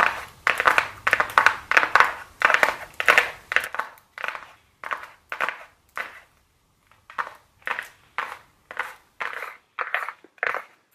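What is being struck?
Small flat cardboard box tapped and scratched with long nails.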